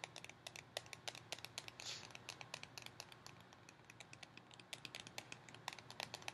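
Long painted fingernails tap along the side of a tall, hollow cardboard Pringles tube with a plastic lid, held upright. About 42 quick, dry, bright clicks with a hollow mid tone near 960 Hz rattle out in an uneven rhythm, each dying away almost instantly over a quiet hiss, with a brief soft swell of noise near the two-second mark.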